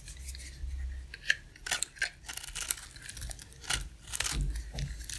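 A box-cutter blade shaves flat across a dry, palm-sized, solid round cream soap bar with an embossed logo. Crisp, dry scraping and crackling strokes come in quick bursts with bright, hissy edges over a soft low rumble.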